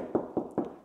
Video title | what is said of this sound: What are house walls actually made of? | if I just tap the wall you can hear straight away that it sounds Hollow